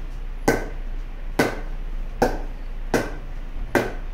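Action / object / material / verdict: strike / wooden cricket bat / willow wood / none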